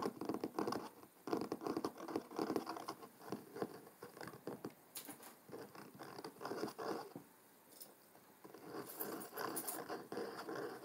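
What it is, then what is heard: Cloth-covered hardcover book. Fingertips and short nails tap and scratch the front cover and edge of a large, thick, solid hardcover book with a dark blue cloth cover, lying closed on a wooden table. The result is a quiet, dense patter of soft, dull taps centered in the low mids, with scratchy, rustling strokes. Each tap dies away almost instantly, and a few brighter scrapes stand out near the middle and toward the end.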